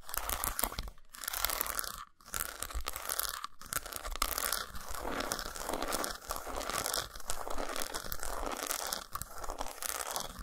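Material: Chocolate.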